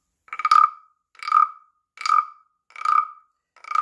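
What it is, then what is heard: Wooden frog rasp (guiro). A hand-carved, palm-sized hollow wooden frog rasp (guiro) with a ridged back and open mouth is held in one hand while a small wooden stick strikes and scrapes the back ridges. Five separate rasping croaks sound at a steady, unhurried pace, each a buzzy burst centered near 1.3 kHz with a bright edge. Each croak dies away quickly.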